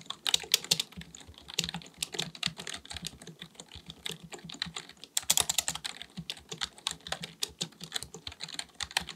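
Both hands type continuously with their fingertips on a black, full-size plastic keyboard resting on a desk; the keyboard is likely mechanical and has a hollow body. Rapid key taps make a dense stream of bright, sharp clicks with very short decay and little low end, with louder bursts near the start and around the midpoint.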